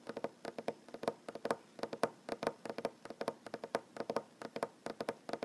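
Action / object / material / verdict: tap / wooden tabletop / wood / none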